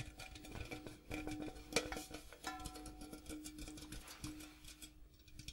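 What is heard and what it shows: Fingertips tap the striped outside wall and the rim of a large, empty, hollow printed metal popcorn tin with a gold interior. A quiet, rapid series of light taps gives short, hollow metallic pings, with a faint steady ringing tone underneath.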